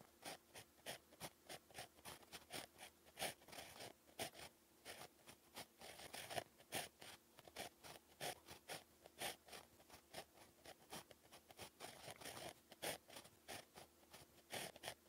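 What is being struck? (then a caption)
Ballpoint pen tip on paper notepad. The tip of a pink plastic 0.5 mm ballpoint pen, held in the fingers, scratches across a lined beige paper sheet on a flat, solid notepad while writing Korean text. Many short, quiet, dry scratching strokes come in quick bursts with brief pauses, bright and papery, with almost no low end and no ring after each stroke.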